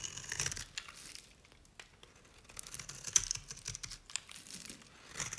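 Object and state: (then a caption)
Dry bar soap being shaved. A knife blade cuts thin curls from the bottom edge of a cream-colored dry bar of Nevskaya Cosmetics soap held in the hand. It makes a run of quiet, dry, crisp scraping and crinkling cuts, almost entirely bright and high with very little low end. Each stroke dies away instantly with no ring.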